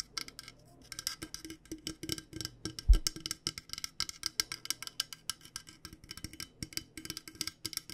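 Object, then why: Insulated stainless steel water bottle. Long nails tap rapidly and steadily on a hollow, purple-coated insulated stainless steel water bottle. Dozens of quick, dry taps with crisp, bright clicks over a soft, low hollow knock. Each tap dies away almost at once, with one firmer knock standing out near the middle.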